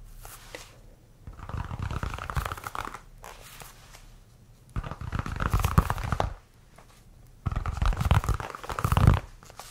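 A solid white leather baseball is held in the hands and tapped and scratched with fingernails. Three bursts of rapid, dense tapping and scratching come through as a low, muffled, thumpy sound with a scratchy midrange, separated by quiet pauses.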